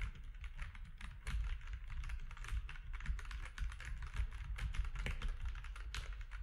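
Fingertips of both hands type steadily on a compact mechanical keyboard with grey, white and orange plastic keycaps. A fast, continuous run of short keystrokes with a deep, thumpy body and bright clacking edges, each dying out almost at once.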